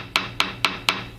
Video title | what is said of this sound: Installation and Inspection of Composite Rotor Blades presented by Van Horn Aviation, LLC | it went from a solid tone to a more flat uh buzzing like sound